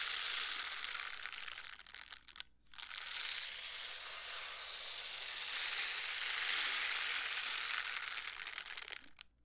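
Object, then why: Silicone scrubber gloves. A pair of pink silicone scrubber gloves worn on both hands is rubbed palm to palm and finger to finger close to the mic. The result is a dense, bright, crinkly scrubbing with rapid grainy crackles, briefly pausing twice near the start before continuing steadily and fading out at the end.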